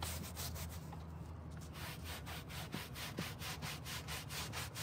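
A gloved hand scrubs the pile of a dirty dark grey carpet car floor mat lying on a table, using a green-bristled plastic hand brush. Brisk, rhythmic scratchy bristle strokes repeat at about two per second, each bright, rasping sweep stopping short. They sit over a steady low rumble and a faint constant high tone.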